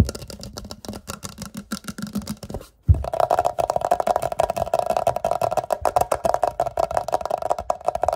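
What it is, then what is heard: Empty glass jar. A medium clear glass jar or vase, hollow and empty, is held up and tapped and scratched all over with short fingertips and nails. Quick, dry taps and scratches with a low hum come first, then a brief silence, then a denser, louder run with a steady ringing mid tone. Each tap dies away almost at once.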